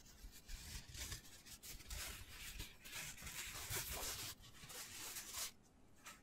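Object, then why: Foam cylinder. Fingertips and short nails rub and scratch a hand-sized black foam cylinder with a hole in one end. The result is a continuous, bright, hissy scratching and rustling with soft, low muffled bumps underneath, fading near the end.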